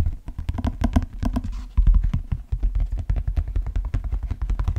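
A large, hollow, empty brown stitched leather cowboy boot is held by the shaft and tapped and scratched with the fingertips. A rapid, steady run of dull, low, hollow thumps follows, each dying away almost at once, with faint scratching between the taps.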